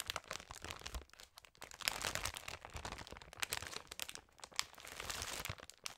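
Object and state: Plastic candy bag.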